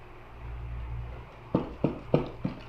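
A plain brown cardboard box holding two pieces of paper is shaken, giving four soft, dull thuds after a low steady hum. The knocks are short and muffled, without metallic ring, consistent with a normal non-metal item inside.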